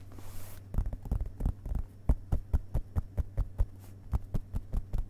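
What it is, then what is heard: Paper book pages tapped. Fingertips of both hands tap rapidly on the printed paper pages of an open hardcover book resting on carpet. The taps land as soft, dull, low thumps at an uneven pace, over a steady low hum, with a brief bright hiss at the very start.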